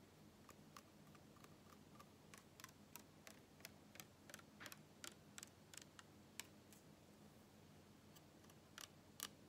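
A small, full PET cola bottle is turned sideways and handled while fingertips and nails tap and scratch its ridged plastic body. About twenty quiet, sharp, bright clicks with a faint ring near 2.3 kHz come at irregular intervals over a steady low hum and hiss.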